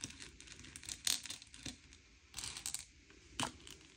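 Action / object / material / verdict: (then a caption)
scrape / small candy-coated chocolates on a plate / sugar shell / none. Fingertips slide and push a pile of small, hard, sugar-shelled M&M's candy-coated chocolates around a grey plate, sorting them by colour. Soft, bright clicks and rattles of the candies knocking together mix with a faint sliding hiss, with a few louder clattering bursts. The sound is quiet and mostly high-pitched, with almost no low end.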